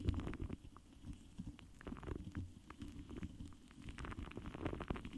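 The foam doe-foot tip of a pink lip gloss applicator, held in the fingers, strokes, rubs and taps against a large, rounded, hollow metal mesh microphone grille. It makes quiet, muffled, low rumbling scratches with soft dull thuds, mostly deep bass with a few brief brighter scrapes and almost no ring.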